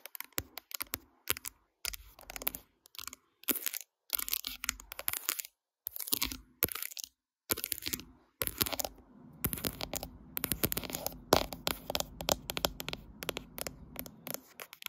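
Long light-blue acrylic nails tap and click on the glass back and metal edges of a graphite smartphone, possibly in a case, held upright in a tripod phone clamp that is also doing the recording. Close, bright, dry clicks come in quick bursts separated by short silences, then settle into a denser, steadier run of tapping and scratchy clicking toward the end.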